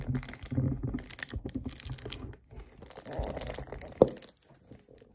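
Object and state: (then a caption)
Plastic kefir jug. Fingernails grip and tap a hollow 1 L white plastic (HDPE) kefir jug, first standing upright and then lying on its side. Soft, crinkly taps and scratchy grasping sounds with a low hollow body give way to a brighter rustling passage. One sharp, louder tap with a short ring near 512 Hz stands out before the sound fades to quiet ticks.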